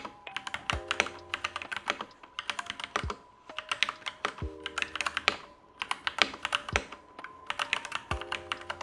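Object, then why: Mechanical keyboard with plastic keycaps. An assembled, unmodified Next Time 75 mechanical keyboard with black plastic keycaps and Gateron Yellow switches in a light case is typed on rapidly with the fingertips of both hands. Quick, bright plastic clacks come in dense bursts separated by short pauses, over faint steady tones in the background.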